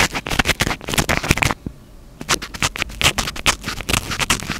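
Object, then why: Foam microphone windscreen. Fingertips rapidly scratch the top of a small black foam windscreen on a stand-mounted microphone, producing a dense run of crisp, bright scratching bursts with some low thumps. The scratching breaks for a brief quiet pause in the middle, then resumes just as fast until the end.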